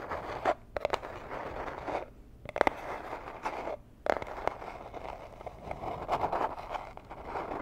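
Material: Cardboard.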